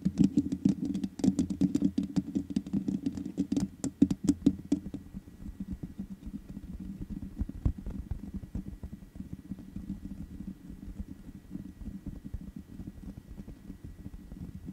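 Long nails tap the hollow metal mesh head of a black microphone, making a rapid, uneven patter of sharp clicks over a low, warm hum. The first five seconds are louder and brighter, then the taps turn softer and duller and keep on steadily to the end.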